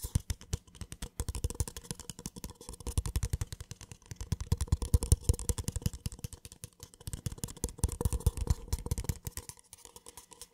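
A small, empty, hollow white paper cup is held sideways and tapped and scratched on its outer wall with the fingertips. A steady stream of fast, dry, muffled taps and light scratches with very short decay runs throughout, with a low hollow thump under a faint high rustle.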